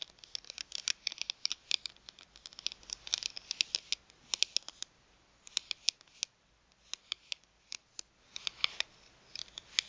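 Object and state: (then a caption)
Plastic gift card. Long nails tap and scratch the surface of a thin plastic gift card, first held in the hand and then lying on a mat. Dozens of quiet, sharp, bright clicks come in quick irregular clusters, with soft scraping between them. Each click is dry and dies away instantly, with no low end.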